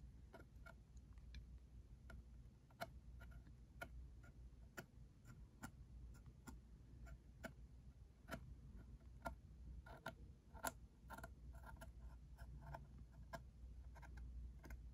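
A fingertip and nail tap the side face of a small, hollow, printed cardboard ink cartridge box resting on a felt surface. The result is a steady series of light, dry ticking taps that die away almost instantly, over a quiet low hum.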